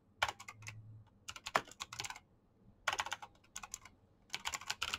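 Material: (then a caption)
Plastic. Fingertips type fast on a black plastic mechanical keyboard with clicky switches. Quick bursts of sharp, bright clacks come in uneven runs, separated by brief quiet gaps.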